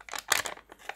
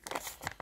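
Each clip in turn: First: crisp banknote in good condition. Second: worn, limp banknote with little crunch.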